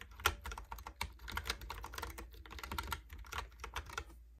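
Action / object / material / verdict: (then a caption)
tap / plastic computer keyboard with round keycaps / plastic / none. Fingertips type rapidly on a Logitech keyboard with round plastic keycaps, producing a quick, uneven stream of short, dry clicking taps. The clicks are crisp and bright with almost no ring, over a faint low hum that runs throughout.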